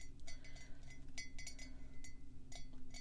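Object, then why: Ceramic coffee mug. Fingertips and long pink nails tap on the rim and top edge of a matte black ceramic coffee mug, hollow and apparently empty, held in the other hand. A quick series of light, bright clicks, each with a short ring, sits over a steady low hum.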